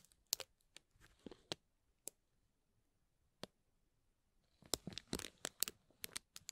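A dark metal tool pokes and scrapes between the thin folded cells of a hollow green tissue-paper honeycomb ball. Crisp, bright paper crinkles and sharp ticks come in scattered bursts, with a near-silent stretch in the middle. A denser flurry of rustling and crackling follows toward the end.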